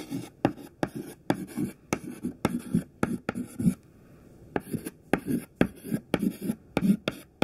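A thin white classroom chalk stick, held in the fingertips, writes text on a black chalkboard with scratching and tapping strokes. Sharp taps come between bursts of low, dry scratching, with a brief quiet pause midway before the writing resumes.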